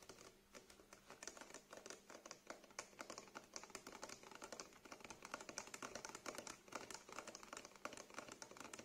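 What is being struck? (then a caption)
Small plastic bottle partly filled with liquid. Fingernails tap and scratch along the sides of a small clear plastic cleanser bottle with a green label and white cap, partly filled with liquid and held in the hands. Rapid, quiet clicks and scratchy rasps run steadily throughout, bright and crisp with very little low end, each tap dying away almost instantly.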